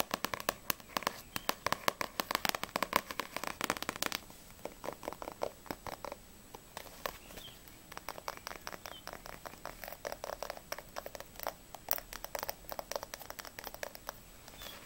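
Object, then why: Paperback book, paper cover. Long nails tap rapidly on the back cover of a yellow paperback manga book held flat, then on its narrow spine with the book held sideways. The taps are dry, short clicks with a papery mid tone and some bright edge, almost no low end, dense and busy for the first four seconds. They then turn softer and sparser before picking up again in quick bursts.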